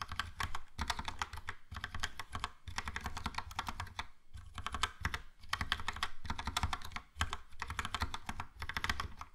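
Fingertips type on a Logitech POP Keys plastic mechanical keyboard with a yellow plastic case and round plastic keycaps. Rapid, clicky taps come in bursts separated by short pauses, with a low thumping body under bright plastic clatter. Each keystroke dies away almost instantly.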